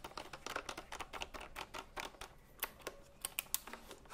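A retro typewriter-style computer keyboard with round plastic keycaps is held vertically against her face while fingertips tap and press the round keys. A quiet, rapid, uneven run of sharp, bright plastic clicks follows, each one dry and short with almost no ring.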